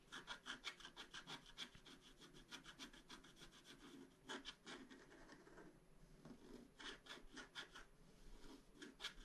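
A wooden stylus scrapes long strokes across a flat black-coated scratch-art card, producing a quick series of dry, bright, raspy scratches. The strokes come in bursts with short pauses, and the surface gives a faint tone around 1.6 kHz beneath the high hiss.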